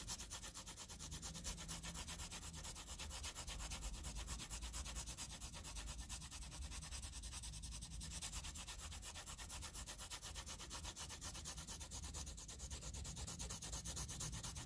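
A wooden graphite pencil scratches and rubs shading strokes across a flat sheet of graph paper. It makes a steady, dense, rapid scratching with a bright papery hiss over a low rumble. The sound holds at an even level for the whole clip.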